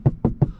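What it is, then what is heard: Sound-deadened car headliner. Three dull, low knocks on the sound-absorbing headliner of a Crown Sport, each dying out almost instantly with no ring. The roof lining's acoustic treatment keeps sound from echoing, so front and rear passengers can talk clearly.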